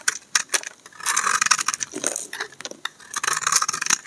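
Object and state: Soap bar scraped with a blade.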